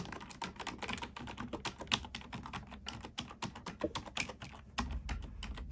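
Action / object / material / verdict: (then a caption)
tap / plastic computer keyboard / plastic / none. Fingertips and long nails type rapidly on a black plastic computer keyboard, producing a dense stream of short, dry, bright clicks and clacks. The keystrokes die away almost instantly with no ring, over a soft low rumble that grows slightly louder near the end.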